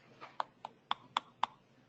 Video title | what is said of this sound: 190628c MDC Privada | si yo coloco el provisional y le pido al paciente que ocluye y cierre varias veces y escucho ese castañeo, mi provisional no está alto